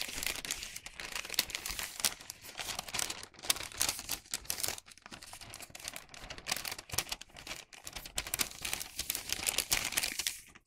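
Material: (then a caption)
Wax paper. A hollow bag of thin printed wax paper is squeezed, folded and rubbed with the fingers. It gives off a dense, continuous, bright crinkling and crackling with almost no low end. The crackle comes in uneven bursts and briefly dips near the middle before building again.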